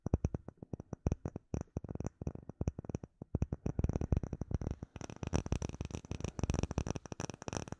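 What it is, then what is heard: Acrylic plate tapped and scratched. Fingertips and nails tap and scratch a flat, solid, clear acrylic plate with embedded bubbles, held in both hands. Quick, dull, low thumps with faint bright clicks come in an uneven rapid pattern, each dying away almost at once. After about five seconds the tapping and scratching turn into a denser, near-continuous patter.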